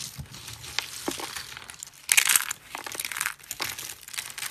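Thin, brittle slices and flakes of dry white soap are crushed and rubbed between the palms and fingers. The result is a continuous bright, dry crunching and crinkling with short crackles, peaking in a louder burst of crumbling about halfway through before settling back into softer rubbing.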